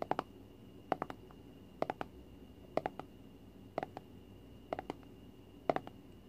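Long fingernails tap a small cylindrical plastic tub of Flarp noise putty, held in both hands close up, with a printed label and the lid on, presumably full. Seven evenly spaced bursts of about three quick, dry, hollow clicks each sit over quiet room noise and a faint steady tone. Each click dies away almost instantly.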